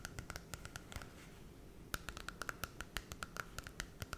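Long red acrylic nails scratch and tap the holographic glossy cardboard cover of a small Disney Cinderella picture book held in both hands close to the face. Soft, quick clicks with a faint bright edge sound over a low, quiet scratching. They pause briefly, then return as a steady run of crisp taps.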